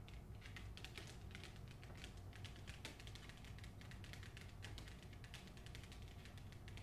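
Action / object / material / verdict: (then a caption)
tap / hardcover book with glossy paper dust jacket / paper / none. Long acrylic nails rapidly tap the front cover of a hardcover novel with a glossy paper dust jacket while both hands hold the book. The taps come as a dense, steady stream of sharp, bright clicks over a low, constant hum, staying quiet and even throughout.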